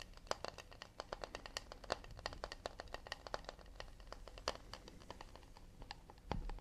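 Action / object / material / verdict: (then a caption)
tap / acacia wood plate / acacia wood / none. A round, solid acacia wood plate, underside facing out, is tapped quickly with fingernails near the rim and across the back. The result is a rapid, uneven stream of dry, bright clicks with almost no ring, centred around a woody tone near 580 Hz, ending with a duller, lower thump.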